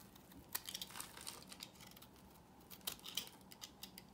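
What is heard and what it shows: A solid, pale yellow rectangular bar of dry soap, held in the hand, is carved with a knife blade into crunchy, crumbly shavings. The sound is a quiet run of sharp, bright scraping crunches and crackles with very short decays, clustered in two bursts separated by a softer stretch.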